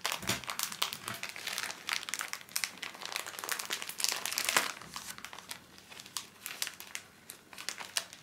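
A small pocket pack of paper tissues in thin crinkly plastic film is held in both hands while fingertips squeeze, rub and crinkle the wrapper. The result is dense, bright crinkling with many quick, sharp crackles and almost no low end.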